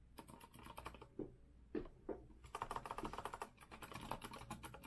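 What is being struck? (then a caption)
Metal-framed mechanical keyboard with round keycaps. Fingertips of both hands type rapidly on a compact retro Azio mechanical keyboard with a copper-colored metal case and round keycaps. Dense, bright key clacks with a tone centered near 900 Hz run in quick bursts, broken mid-clip by a short pause with a few heavier, lower thocks before the fast tapping resumes.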